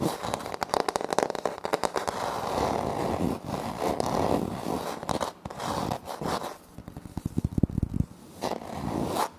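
Both hands scratch a flat, solid wood-look laminate floor panel with a light wood-grain print, using short nails. Dense, crackly scraping rasps with short sharp ticks, mostly in the low-mid range, and it pauses briefly a few times between bursts.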